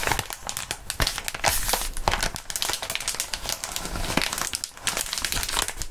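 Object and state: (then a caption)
Plastic bubble wrap. Gloved fingertips squeeze and crinkle a crumpled sheet of clear plastic bubble wrap close to the mics. A dense, bright crinkling runs steadily throughout, with frequent sharp crackles and snaps that die away almost instantly. It briefly softens just before the five-second mark, then picks back up.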